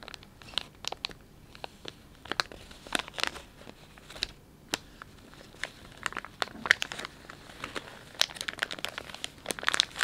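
Fingertips stretch and crinkle the soft plastic film of a filled, palm-sized Dettol wet wipes pouch while knuckles press into it. Dense, bright crackling comes in quick, sharp bursts over a faint background, with little low end. The crinkles bunch into busier clusters toward the end.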